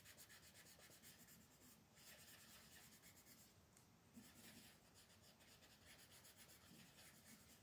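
A magenta colored pencil, its wooden tip held in fingers with painted nails, steadily shades a thin paper page of a coloring book lying flat on a wooden table. The result is a continuous, quiet scratchy rubbing with a bright, hissy texture and a quick back-and-forth stroke rhythm throughout.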